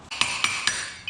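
A hammer taps a steel bearing into the other side of the carrier hub on an LTZ400, giving five sharp, bright metallic strikes that ring briefly at a high pitch. The tone of the taps changes, showing the carrier bearing is fully seated.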